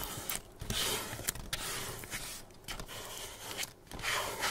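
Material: Paper.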